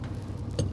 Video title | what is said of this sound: 20살에 결혼하고 애 둘 키우던 아내가 5,000만 원 중고 트럭을 사왔다│다큐 잇│#골라듄다큐 | 소리가 다르거든요 지금 요건 통하는데